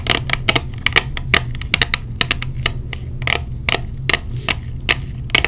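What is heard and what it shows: Long blue nails tap a small hollow clear plastic case with silicone earplugs inside. About 22 sharp, dry clicks come in an irregular, quick rhythm, each bright with a ring near 2.3 kHz and dying almost at once. A steady low hum sits underneath.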